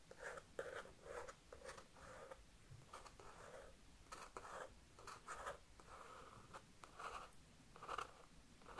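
A thin wooden stick traces and scratches lightly across a page of a spiral-bound paper sketchbook, held upright and showing a pencil drawing of a knight. Quiet, dry, papery scratching comes in short, irregular strokes and bursts, with a mid-range rasp and a few brighter edges. The strokes stop sharply, leaving a soft, close-up paper texture.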